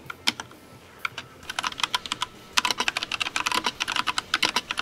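A compact mechanical keyboard with pastel plastic keycaps is typed on rapidly by the fingertips of both hands. The sound is a fast run of short, bright, high clicks that starts sparse and then turns dense and steady, with almost no low end.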